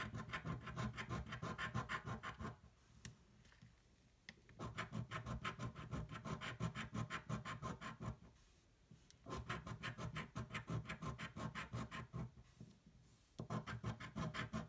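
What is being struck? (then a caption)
Paper scratch-off ticket scraped with a metal coin. The edge of a metal coin scratches the coated play area of a thin paper scratch-off lottery ticket lying flat on a table, in short, quick strokes. The result is rapid, rhythmic, dry scraping rasps, about three strokes per second, grouped in bursts separated by brief quiet pauses.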